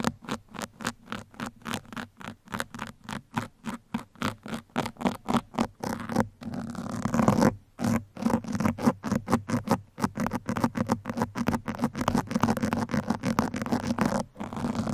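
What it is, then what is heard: Foam microphone windscreen scratched with metal pins. Two metal pins held in the fingertips scratch across a black foam microphone windscreen, making soft, dry, fuzzy scratching strokes with a low-mid body. Short, evenly spaced strokes give way around the middle to a steady, continuous scrape, then resume as a faster, denser patter of scratches.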